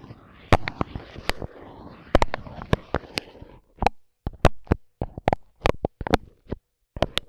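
A microphone with its grille removed has its dark capsule covered in clear plastic film, and the blunt end of a wooden skewer held in a gloved hand taps and rubs it. Sharp, dry pops cut through a low crinkly rustle for the first few seconds. After that come spaced, crisp taps separated by near silence.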